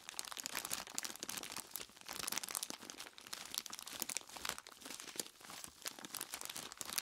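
Long plastic claw tips press, squeeze and scratch the surface of a large clear plastic bag full of ice cubes. The result is a steady stream of bright, dense crinkling and crunching with quick scratchy ticks and almost no low end, swelling and easing in soft waves throughout.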